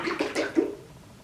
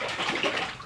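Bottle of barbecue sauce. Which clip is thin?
The second.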